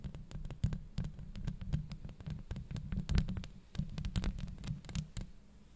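Long acrylic nails on both hands scratch across the metal mesh grille of a Blue Yeti microphone. The result is a dense, steady run of rapid scratching and tapping, heavy in deep low rumble, with short bright clicks flicking through it.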